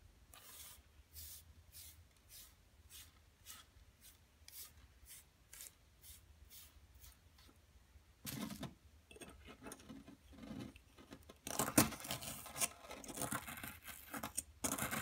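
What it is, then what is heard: Plaster dig block being scraped. A wooden-handled metal pick, held in a hand with long nails, scrapes and chips a fist-sized solid blue plaster (gypsum) dig block, leaving loose blue powder on the table. Soft, evenly spaced bright scraping strokes give way to louder, denser scratching and chipping with sharp gritty bursts near the end.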